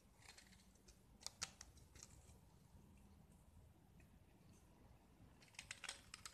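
A small solid gypsum tile painted with blue and white stripes is held in the hand and scraped with a metal utility knife, curling off chalky shavings. Quiet, dry, bright scraping runs throughout, with short crisp clicks and ticks clustered near the start and again near the end, over a low steady rumble.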